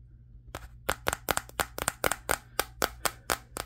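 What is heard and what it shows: Fingertips of one hand tap the matte glass back of a Samsung Galaxy S23 phone while the other hand holds it. Fifteen short, sharp clicking taps come in an uneven rhythm, each bright with a tone near 1.4 kHz and dying away almost instantly over a faint low hum.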